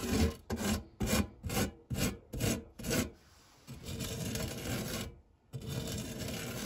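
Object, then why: Non-stick metal tart tin and silicone spatula. A hand-held silicone spatula sweeps and scrapes across the textured bottom of a dark non-stick metal tart tin. Seven quick rasping strokes come first, then a longer, quieter continuous rubbing that briefly stops and resumes. The sound is dry and scratchy with a low, soft body.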